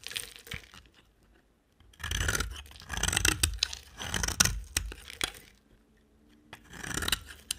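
A box cutter blade scrapes and carves a solid, dry orange-brown bar of soap held in a hand with long dark nails. Dry, crunchy scraping comes in several bright, hissy bursts, separated by short quiet gaps.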